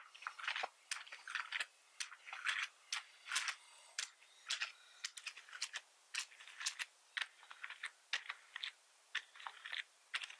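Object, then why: Plastic membrane keyboard. Fingertips of one hand type and tap across a black plastic full-size membrane keyboard with red accent keys and a hollow plastic body, lying on a wooden desk, while the other hand stays off the keyboard. Quiet, bright plastic clicks and clacks come in irregular bursts and short runs with brief pauses between them, each dying away quickly with no low thump.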